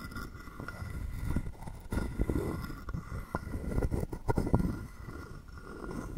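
A wooden stick is rubbed and scraped across the ridged back of a hand-sized, hollow, carved wooden frog guiro held in the palm. It makes a soft, low, woody rasping with uneven clicks and a few sharper scrapes that swell and fade. The short, dry strokes stop almost at once with no ringing.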